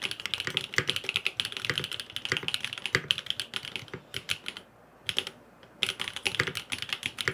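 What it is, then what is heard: Aluminium mechanical keyboard with plastic keycaps. A grey aluminum FROG MINI mechanical keyboard with blue and purple plastic keycaps and no foam inside is typed on rapidly with fingertips. The taps are bright, clicky and very short, with a brief pause near the middle before the typing resumes.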